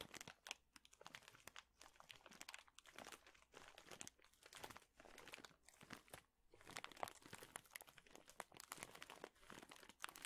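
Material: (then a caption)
Plastic, wood. A large clear plastic bag full of thin, flat wooden chips is squeezed and crinkled with fingertips. It gives steady, bright crinkling and crunching, with dense rapid crackles in soft bursts and almost no low end throughout.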